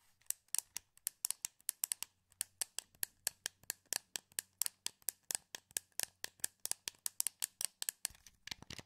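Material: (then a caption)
Plastic. A hand-sized, hollow, translucent blue plastic wireless PS2 controller is held in both hands while thumbs and fingertips click its buttons and move its thumbsticks. About forty sharp, bright plastic clicks follow in quick succession, each dying away almost instantly, over a faint low hum. A denser cluster of clicks comes at the end.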